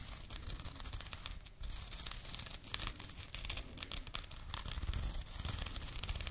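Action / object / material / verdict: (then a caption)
scrape / small burlap jute pouch / jute / none. A small labeled burlap jute pouch is held against the microphone and scratched with long nails. It makes dense, continuous rough scratching and crinkling with bright, rasping texture and a soft low rumble underneath.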